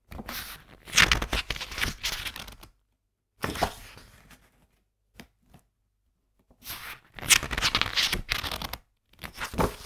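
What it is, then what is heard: Paper book pages turned. Fingertips turn the matte and coated printed paper pages of a medium softcover graphics book held open in both hands, rubbing each page flat. Bursts of bright, crisp papery swishing and rustling alternate with short quiet gaps, plus a few faint brief flicks in between.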